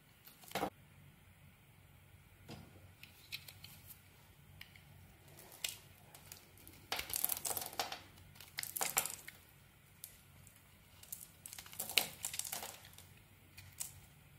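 A utility blade scrapes and carves flakes off the embossed face of a solid, hand-sized green olive oil soap bar (Olivenöl Kernseife) held in the palm. Bright, crisp, crinkly scraping strokes come in short bursts of varying length over a quiet, faint low background, with no ring after each stroke.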